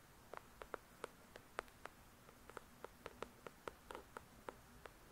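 Long pointed nails tap quickly on the glossy card cover of a paperback novel, "The Shack," made of solid paper. About eighteen quiet, short, dry clicks with a midrange body and a light bright edge are heard over a faint steady hiss, each dying out almost instantly.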